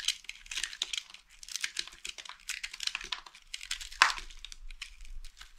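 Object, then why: Bar of soap scraped with a metal blade. A small, solid, mint-green dry soap bar held in one hand is scraped and shaved with the metal blade of a green utility knife, and flakes fall off. The result is a fast run of dry, crisp, crinkly scraping bursts, bright and high with almost no low end, with one sharper, louder crack about two-thirds of the way through.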